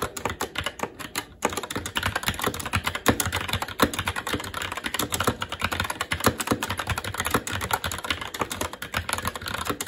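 Fingertips of both hands type continuously and fast on a SteelSeries Apex 7 TKL mechanical keyboard with plastic keycaps on a metal top plate and Red linear switches. After a lighter first second or so, a dense, steady stream of short, crisp plastic clacks follows, each dying away almost instantly.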